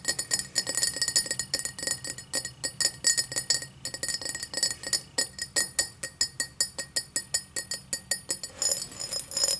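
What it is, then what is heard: Cut crystal tall glass. Long black nails tap rapidly on the side walls of an empty tall cut crystal glass tumbler, held end-on with its base facing forward. The result is a steady stream of short, bright, high-pitched clinks that die away almost instantly, first in dense clusters, then in more evenly spaced single taps.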